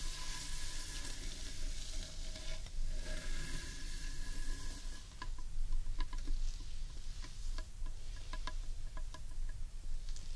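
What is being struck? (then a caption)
Carved wooden bowl. Long nails scratch and rub across the underside of a large, hollow, carved wooden bowl, making a steady dry, bright scraping over a low hollow rumble. About halfway through, the scratching turns into sharper, separate clicks and taps against the wood.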